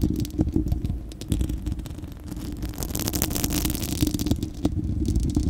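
Long acrylic nails on both hands scratch across a bare, hollow, fist-sized spherical steel wire-mesh microphone grille. The result is a dense, continuous scratching rumble, heavy in the low end with a steady hum-like tone, broken by quick crackling flicks. Brighter raspy scraping swells through the middle of the clip.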